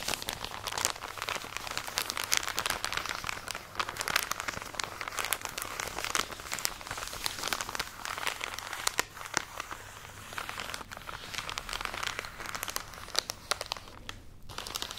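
Long nails scratch and squeeze a full plastic package of cotton pads, producing continuous bright crinkling with dense, sharp crackles. The plastic rustle stays steady for the whole clip, with brief louder crunches scattered throughout.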